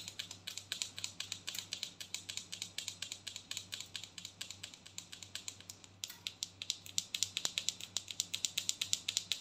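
Long nails tap rapidly on a large white plastic body scrub tub with a ridged lid. They make a quick, steady stream of dozens of dry, bright clicks that stop instantly, with a brief dip in level around the six-second mark. The clicks then return slightly louder over a faint low hum.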